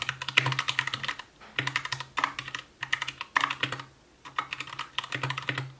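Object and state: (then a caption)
Plastic mechanical keyboard. Fingertips of both hands type continuously on an Anne Pro 2 60% mechanical keyboard with white plastic keycaps, a translucent case, RGB backlight and Gateron brown switches. Bursts of quick, bright, clacky keystrokes are heard, each dying away almost instantly, with a low thud beneath them. The bursts are separated by brief pauses.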